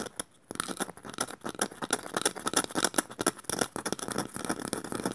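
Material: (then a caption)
Bamboo. Long nails scratch and pick at the woven strips of a small, light, hollow woven bamboo bowl held upside down. A dense run of dry, bright, crackly ticks and scrapes follows a brief pause near the start, each click dying away almost instantly with little low end.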